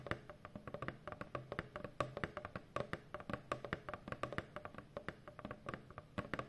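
Long painted fingernails of both hands tap quickly on a large, hollow corrugated cardboard shipping box. The result is a rapid, uneven run of short, dry, clicky taps with a hollow mid-range tone and almost no ring.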